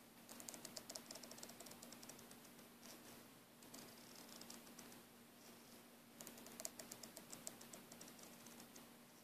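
Fingernails rapidly scratch and squeeze the braid of a green braided nylon air hose held in a loop, making quiet, dense, bright crackling scratches over a faint steady low hum. The scratching comes in busy bursts at the start and again near the end, with a softer, sparser stretch in between.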